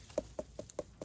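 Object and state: Small watermelon sounding hollow.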